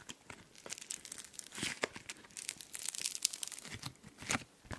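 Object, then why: Foam slime with polystyrene beads. Pink foam slime (floam) with polystyrene beads is stretched and squeezed by fingertips right beside the microphone. It makes a dense run of bright, crunchy tearing and crackling pops with very little low end, each snap dying away almost instantly.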